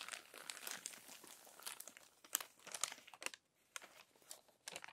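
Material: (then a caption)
Paper. Long nails turn and press the crinkled pages of an open glossy paper magazine flat. The result is quiet, bright, irregular crinkling and crackling, with sharp rustles between softer papery brushing.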